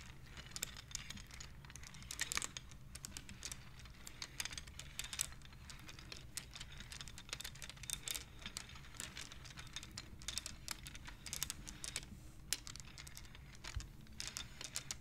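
Long nails and fingertips push painted, colored wooden beads along the metal rods of a large wooden-framed abacus, clicking them together. The result is a steady run of quick, dry, bright clicks and taps with very short decay, heard quietly over a low rumbling background.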